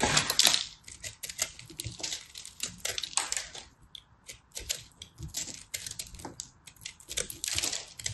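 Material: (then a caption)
Pressed soap. A palm-sized, solid and crumbly ball of pressed blue and purple soap flakes, held in a hand with long red nails, is cut and scraped with a small knife blade. Rapid bright crunching and scratching comes in dense bursts, loudest at the start, with crumbly flakes crackling between the short, dry scrapes.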